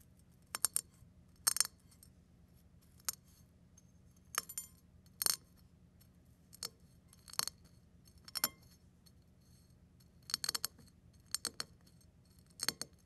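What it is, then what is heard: Crushed eggshell pieces. A fingertip presses and pinches a pile of eggshell flakes on a ceramic plate, crushing them. Short, bright crackling and clinking bursts come in separate clusters with quiet pauses between, each snap dying away almost instantly over a faint low hum.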